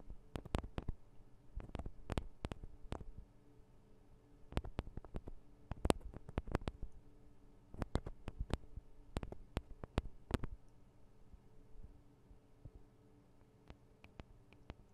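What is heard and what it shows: Long acrylic nails tap the small, hollow metal and plastic microphone capsules of a Tascam DR-40 recorder. Quiet, crisp clicks come in irregular bursts with brief pauses between, each dying away almost instantly. A faint low hum sits steadily underneath.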